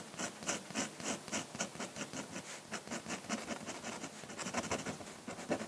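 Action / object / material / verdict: scrape / paper drawing sheet under a metal pen nib / paper / none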